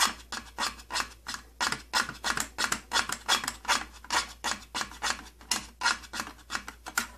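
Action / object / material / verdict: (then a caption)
scrape / thin plastic case panel / plastic / none. Fingertips and nails scratch and rub back and forth across the thin side panel of an opened, old purple plastic tattoo kit case. About 29 quick, bright, raspy strokes come in an uneven rhythm, each fading almost at once, with little low-end weight.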